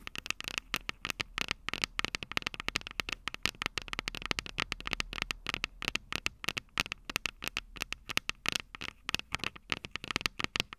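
Long purple nails rapidly tap and scratch the small, hollow, silver metal microphone capsules of a Tascam DR-05 recorder. A dense stream of sharp, dry clicks with no ring is heard, bright and centered around 2.7 kHz, with very little low end. Faint crackly scratching fills the gaps between the taps.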